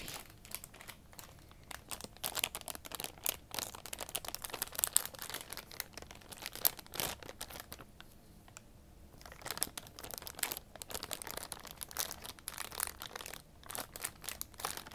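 A small, soft green-and-white plastic-film packet full of makeup remover wipes is held in both hands and squeezed and crinkled with fingertips and long painted nails. The result is a quiet, dense stream of bright, crackly crinkles and sharp rustles that dip briefly in the middle before picking up again.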